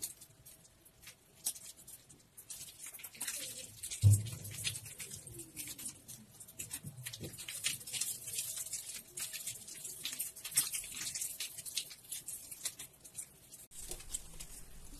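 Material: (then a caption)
Soap. Hands squeeze and tear a brownish, soaked, mushy bar of soap in a plastic tub of water, with a sponge duck lying still in the foreground. Quiet, wet squelching and a bright, crackly patter run throughout, with a louder low squish around the fourth second.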